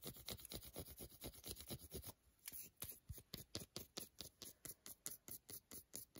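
A few-centimetre-wide piece of a solid milk chocolate bar, held in the hand over foil, is scratched and rubbed with long glittery nails and fingertips. About 26 quick, dry scratching strokes come in a fast, uneven rhythm, each a short bright rasp with a soft low thump. The strokes briefly pause near the two-second mark before resuming more distinctly.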